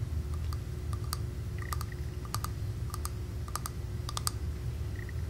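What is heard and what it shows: Long dark-painted nails tap on the silver-rimmed, blue faceted cap of a small faceted purple glass perfume bottle, partly filled with liquid and held in one hand; the cap may be plastic or glass with a metal band. Quick, sharp, bright clicks come in a loose series, mostly from the cap rather than the glass body, over a steady low hum.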